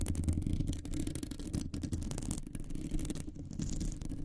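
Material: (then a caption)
Metal mesh. Long nails scratch and tap on a round, hollow metal mesh microphone grille. A dense, continuous scratching rustle is heard, heavy in low, boomy rumble with little brightness, broken by quick, short-ringing taps.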